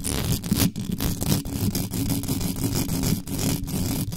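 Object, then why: Metal mesh microphone grille. Long pointed acrylic nails scratch fast across the top and sides of a black microphone's bare metal mesh grille, over its hollow capsule housing. The result is a dense, continuous scratching and rumbling, heavy in the low end, with a steady hum near 145 Hz and a faint bright hiss. Rapid scrapes and brief dips break up the constant friction.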